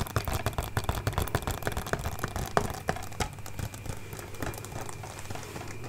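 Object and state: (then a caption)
Plastic DVD case. Long nails tap and scratch the front and back of a closed, hollow, hand-sized plastic DVD case with a printed paper cover (a Scott Pilgrim collector's edition). Quick, irregular, dry clicking taps with a hollow knock come first, then give way to a softer, steady scratching hiss toward the end.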